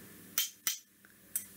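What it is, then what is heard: Two rulers tapped together. Two rulers are knocked against each other, giving three sharp, bright clicks with very short ring and almost no low end. The taps fall at roughly even intervals, with a faint tick between the second and third.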